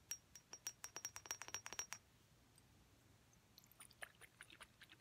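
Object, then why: Thick glass perfume bottle. A thick clear glass perfume bottle, partly filled with liquid, is tapped with long red-painted nails in a quick, uneven flurry of bright clicks, each carrying a brief high glassy ping. After a short pause near the middle, softer, lighter taps resume to the end, 21 taps in all.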